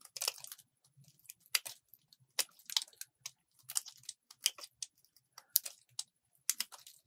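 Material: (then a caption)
Soap. A solid purple bar of soap held in the hand is shaved and carved with a metal utility-knife blade, with crumbly flakes falling away. A series of quiet, dry, bright scraping and crunching cuts come in short bursts, each stopping almost at once with no ring.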